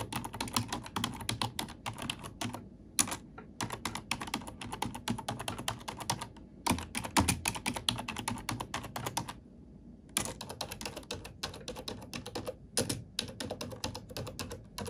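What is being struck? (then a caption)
Plastic computer keyboard. Fingertips type on the plastic keys of a black plastic computer keyboard, producing rapid bursts of bright, sharp clicks and clacks with a soft low thud beneath. The clicks come in dense runs broken by brief pauses, each stroke dying away almost instantly.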